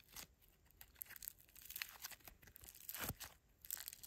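A greyish, fist-sized lump of solid mixed foam bead slime (floam) is kneaded and squeezed with fingertips and thumbs. The result is a quiet run of bright, crackly crunching and crinkling pops, with a louder burst near the three-second mark.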